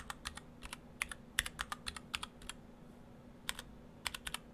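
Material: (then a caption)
Plastic. Fingertips of both hands type on an Orthodox Rev3.1 split ortholinear mechanical keyboard: two halves in clear acrylic cases, white and cyan PBT dye-sub keycaps, and stock Gateron Brown switches. About 21 short, bright, dry keystroke clacks come in quick bursts, with a pause near the middle. A faint low hum sits underneath.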